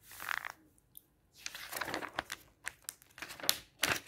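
A palm and fingertips rub and smooth the thin printed paper pages of an open magazine lying flat, and the pages are flipped. Soft, bright rustling and crinkling swishes come in bursts with almost no low end, broken by a brief quiet gap. Sharper papery snaps mark the pages turning.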